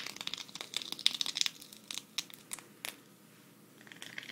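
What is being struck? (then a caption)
Sequin fabric patch. A thin, flat green sequin cactus patch is held up and scratched with long red nails. Bright, crisp crinkling scratches come in quick, irregular bursts, dense at first and then sparser, before trailing into a soft, faint rustle.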